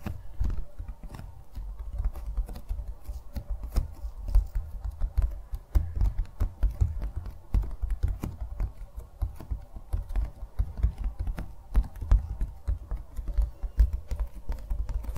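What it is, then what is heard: Acrylic-painted stretched canvas. Fingernails tap quickly and steadily on the thick impasto acrylic paint and the hollow-backed wooden frame of a small rectangular stretched canvas held up in the air. The result is a dense run of short, dull, low taps that stop almost at once, with quick clicky edges and a soft hollow thump beneath them.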